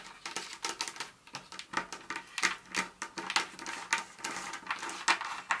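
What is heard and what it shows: Very long nails tap and rake with fast finger movements across a pile of small, solid pieces of broken dark chocolate bar on a countertop, sometimes possibly striking the countertop itself. A rapid, uneven stream of dry, bright clicks and scratchy rakes is heard, with almost no low end and each tap dying away almost at once.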